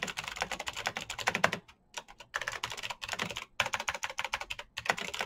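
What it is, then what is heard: Plastic mechanical keyboard. Fingertips type fast and continuously on a black plastic mechanical keyboard with RGB keycaps, producing rapid, bright, crisp clicks that decay almost instantly. The typing comes in quick bursts separated by brief pauses.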